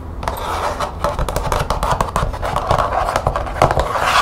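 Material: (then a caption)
Plastic. Long painted nails tap and scratch rapidly along the edge and side of a thin, stiff, hollow green plastic expanding document folder with snap studs. The result is a dense run of quick, dry clicks over a continuous scratchy rasp, with short, bright transients that die away almost at once.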